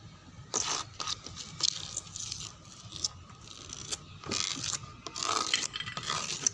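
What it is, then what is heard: Wooden door. Fingernails scratch a dark brown wooden door panel with a clawing motion, making dry, bright scraping strokes in bursts with crackly textures between them. The sound is mostly high-pitched hiss with little low end, and each stroke stops sharply with no ring.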